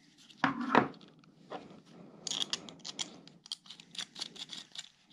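Yellow rubber-gloved fingers handle a small, rigid black plastic GoPro tube clamp mount with an arm and thumbscrew, turning the screw. Two louder clacks come first, then a run of quick, dry, bright plastic clicks and light rubbing, each ending almost at once.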